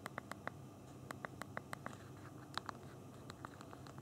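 Thumbs type on the small plastic keys of a handheld BlackBerry phone's physical keyboard while typing and navigating. About 18 short, sharp clicks centered near 1.1 kHz with bright tops come in quick, uneven bursts. There is a pause in the middle, over a low, quiet background.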